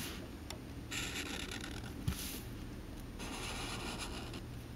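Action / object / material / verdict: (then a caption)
scrape / felt-tip marker on thin paper card / paper / none. A Sharpie felt-tip marker draws continuous strokes and hatching on a thin white paper card held by fingers on a cutting mat. Bursts of bright, airy rubbing and scratching come and go over a steady low hum, with one brief soft knock near the middle.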